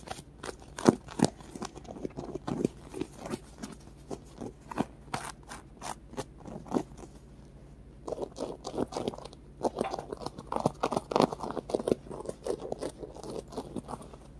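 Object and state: Polyurethane foam squishy toy.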